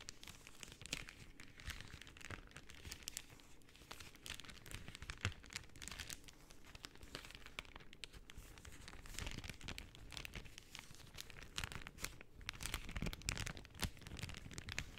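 A folded sheet of pink cellophane film is crumpled and flexed by hand with long painted nails. The result is quiet, continuous bright crinkling and crackling, with dense sharp snaps over a soft low rustle that swells and eases throughout.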